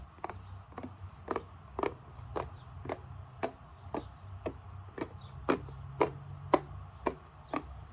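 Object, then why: Plastic bottle. Long nails tap and scratch the back label and barcode area of a plastic isopropyl alcohol bottle tilted sideways. Fifteen short, dry, clicky taps land at a steady, unhurried pace, each a brief bright tick with almost no ring, over a faint scratchy texture and a low steady hum.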